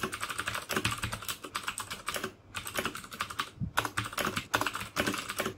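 Fingertips type steadily on the keycaps of a black plastic mechanical keyboard with clicky Cherry MX Blue switches. The result is a rapid run of sharp, bright clicks with a clacky midrange body, broken by two brief pauses.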